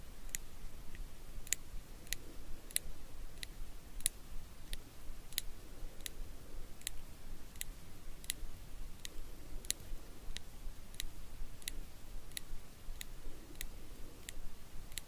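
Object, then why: Small steel tweezers. Small solid steel eyebrow tweezers are held in the fingers while their tips are pinched and clicked together about 22 times at a slow, slightly uneven pace. Each click is a short, sharp, bright tick over a quiet low background hum.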